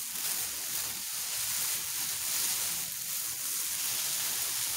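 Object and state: Nothing is struck.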